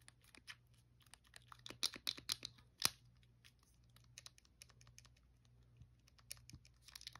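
A blue, hollow plastic Wii controller is held in hand while fingernails tap and press its buttons and scratch its front casing. Quiet, bright clicks and crisp scratches patter irregularly, with the sharpest, loudest taps bunched in the second and third seconds. A faint low hum sits steadily underneath.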